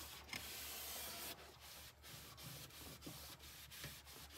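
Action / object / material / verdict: scrape / molded plastic mini fridge liner / plastic / none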